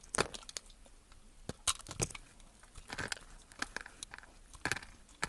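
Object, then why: Bar of soap cut with a knife blade. A utility knife blade cuts and scrapes a solid blue bar of soap, scored into cubes and held in hand. Quiet, crisp crunching snaps and short scraping sounds come at irregular intervals, each bright and dry with almost no ring.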